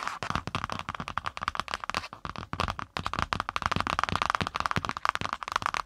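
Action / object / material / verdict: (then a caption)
tap / cardboard notebook cover / cardboard / none. Long pointed nails rapidly tap and scratch the brown kraft cardboard cover of a spiral notebook placed over the mic. The result is a dense, rough stream of sharp, dry clicks with a papery midrange ring around 1.2 kHz and bright scratchy edges. The flurry pauses briefly near 2.2 and 2.9 seconds.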